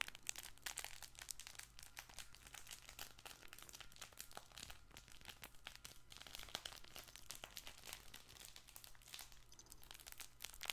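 A colorful stuffed fabric plush baby ball toy is squeezed and scratched with fingertips and painted nails. The result is a dense, continuous crinkly rustling with many quick, bright crackles over a low steady hum.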